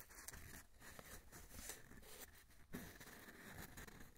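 Fingertips and nails tap and scratch along the surface of a long, hollow, empty brown cardboard tube held horizontally in both hands. The result is a quiet, continuous patter of soft taps and dry scratching with a dull, hollow low-end resonance and a faint, bright papery rasp.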